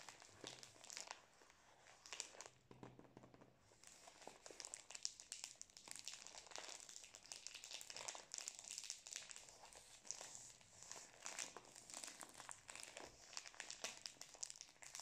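Fingertips squeeze and rub the plastic film wrapped around a full Prince chocolate biscuit roll, held upright and tilted in both hands close to the face. The result is a quiet, steady stream of dense, bright crinkling and crackling, with almost no low end and no pauses.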